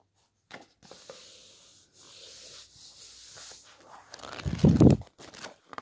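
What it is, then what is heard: Glossy hardcover book pages rubbed and turned. A flat hand rubs across the coated paper pages of a large, thick, solid hardcover architecture coffee-table book lying open on a wooden table, making a soft, steady, bright hiss. Fingertips then flip and smooth the glossy photo pages, with a louder, low, papery flap and whoosh as a page turns, followed by a few light crinkling ticks.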